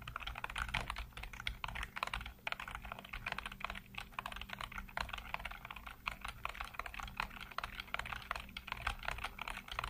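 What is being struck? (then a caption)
Plastic computer keyboard. Fingertips type rapidly across a full-size black plastic keyboard with hollow keycaps, producing a dense, continuous stream of short, bright clacking taps. A steady low hum sits underneath throughout.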